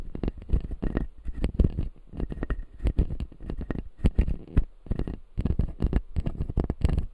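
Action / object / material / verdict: tap / acrylic dental jaw model with resin teeth / plastic / none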